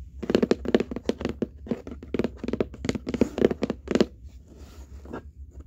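Long painted nails and fingertips on both hands scratch, tap and rub across the flat top of a large, empty-looking corrugated cardboard box. A quick, uneven run of dry, dull scratchy taps and thuds sits in the low-mids, then fades into softer rasping rubs near the end.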